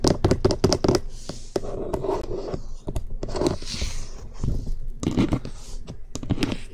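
Fingertips and nails tap and knock rapidly on the top and sides of a hollow cream plastic SR3D binaural microphone housing mounted on a stand. Quick, close, hollow knocks with a plasticky tone ring briefly, mixed with short brushy scratching noises in between. The sound stays dense and low-heavy, with little bright content.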